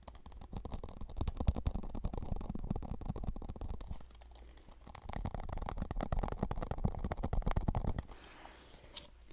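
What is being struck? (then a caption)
Plastic cup. A plastic Solo cup is tapped softly and rapidly up close, making dull, low, short taps in quick uneven bursts. The tapping eases briefly around the middle, picks back up, then drops to near-silence at the end.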